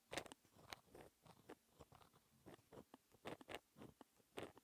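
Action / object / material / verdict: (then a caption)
scrape / pen tip on textured paper sheet / paper / none. A white-ink pen tip held by fingertips scratches across a flat sheet of black textured paper while writing fractions. Quiet, dry scratching strokes come in short separate bursts with bright, crackly edges and almost no low end.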